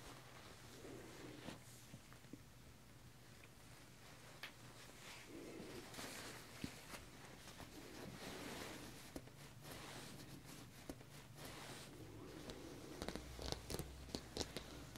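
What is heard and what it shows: Fingertips and an open palm rub and smooth a soft, flexible white button-up dress shirt, likely cotton, hanging on a hanger, working across the chest and collar. The result is a quiet, continuous brushing and swishing rustle over a low steady hum, broken by scattered faint ticks and brighter crackly bursts toward the end.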